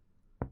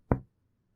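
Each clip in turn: First: dull percussion note over the liver. Second: resonant lung note on chest percussion.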